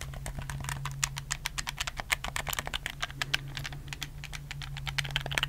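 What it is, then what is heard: Plastic game controller buttons. Fingertips rapidly click the buttons of a black, hollow plastic PS4 game controller held in both hands. The result is a fast, uneven stream of sharp, bright plastic clicks that die away almost instantly, over a steady low hum.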